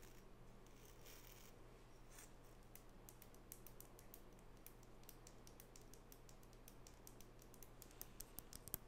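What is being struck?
Small wooden nail brush with natural bristles.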